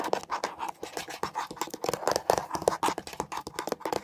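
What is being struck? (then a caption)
Hollow plastic air freshener dispenser housing. Long nails rapidly scratch and tap the textured surface of a beige, hollow plastic air freshener dispenser housing, first lying on its side and then stood upright. The result is a dense run of short, dry scratches and clicks with a faint hollow tone around 500 Hz and bright, crisp edges.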